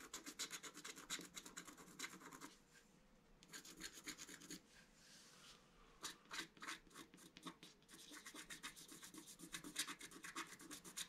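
A wooden stylus rubs and scratches the coating at the top edge and centre of a flat, black-coated scratch art card. Quick, bright rasping strokes come at about four per second. They ease into softer, quieter rubbing twice before picking up again as sharp, dry scrapes.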